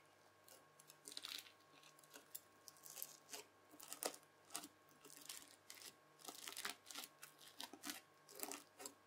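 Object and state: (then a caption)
Bead-filled floam slime crunched with a fork. A white plastic fork presses and scratches into folded red bead-filled floam slime. It makes quiet, bright crunching and crackling bursts that come in irregular clusters, over a faint steady hum.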